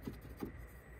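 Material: Nothing is struck.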